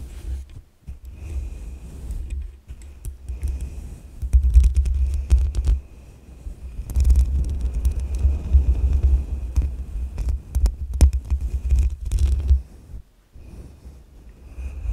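A soft makeup brush sweeps over the hollow metal mesh grille of a black USB microphone. It produces deep, muffled, throbbing rumbles in irregular bursts with brief quiet gaps, plus a faint steady high tone underneath.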